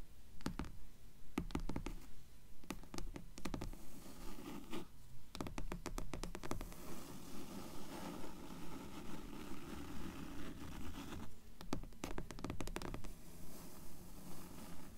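Fingertips and long nails tap and scratch the cover of a dark grey hardcover book that lies partly open. Clusters of sharp, dry taps alternate with stretches of soft, low scraping, repeating at a fairly steady pace with almost no ring after each hit.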